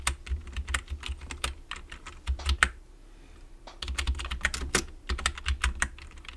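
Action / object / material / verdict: tap / plastic computer keyboard / plastic / none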